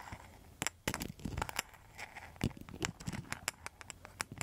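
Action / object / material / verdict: scrape / rattan-rimmed mosaic coaster / rattan and tile / none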